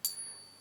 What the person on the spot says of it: you can hear it hanging on for ages that's the sign of the true silver coin